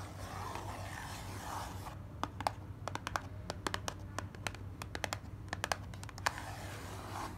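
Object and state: Cardboard box tapped and scratched by fingernails.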